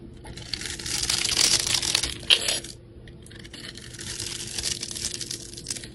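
A metal utility blade scrapes and shaves the pre-scored grid surface of a solid, rectangular, multicolored glitter-coated soap bar held in the hand. The result is a bright, crisp, crackling scrape with a sharp snap near the end of the first pass. After a brief pause, a second, steadier shaving pass follows.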